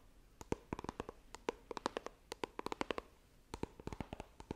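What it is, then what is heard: Cardboard phone box tapped with nails. Long nails tap and scratch the printed lid of a small, hollow white iPhone retail box made of coated cardboard, held horizontally. About 27 quick, dry clicks sound in irregular bursts, each with a hollow tone around 445 Hz and almost no ring. The result is a soft, quiet, hollow tapping and scratching.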